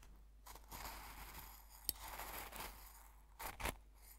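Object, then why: Coarse salt crystals in a glass jar, stirred with a metal fork. A metal fork repeatedly stabs and scrapes the coarse salt crystals in an open small glass jar full of salt. The result is a gritty, crunchy scraping with bright, hissy highs, broken by a sharp click near the middle and two stronger crunching bursts near the end.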